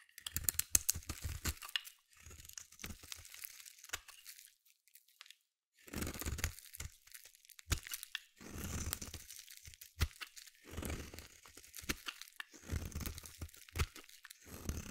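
A metal utility blade scrapes a solid white bar of soap, carving off thick curls. The sound is a series of crunchy, tearing scrapes in irregular bursts, with a low thud-like body and a bright crackling edge, separated by short pauses and one longer silence near the middle.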